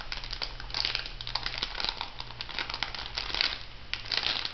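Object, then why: Plastic foil cosmetic sachet. An orange plastic foil cosmetic sachet is crinkled and flexed by fingertips with long nails, producing a continuous stream of bright, crackly crinkles that rise and fall in bursts. A faint steady low hum sits underneath throughout.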